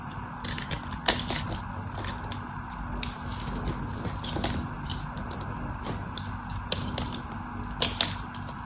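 A craft knife cuts into the scored face of a solid white bar of soap, and crumbly cubes break off. Dense, crisp crackling and scraping continue throughout, with a few sharper, brighter snaps standing out over a faint steady low hum.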